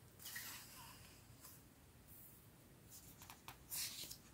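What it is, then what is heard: Paper book pages rubbed. Fingertips with dark-painted nails rub and smooth across the right page of a large hardcover storybook with thick paper pages, lying open flat on a striped cloth. The result is quiet, soft, bright papery hissing and rustling, with several short sharper brushes standing out near the end.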